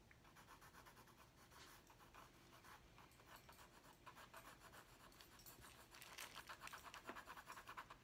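A hand shades with a purple wooden colored pencil on a large, flat white paper drawing pad resting on a wooden desk. Rapid strokes make a quiet, dry, bright scratching in a brisk, uneven rhythm. The strokes grow louder and sharper toward the end.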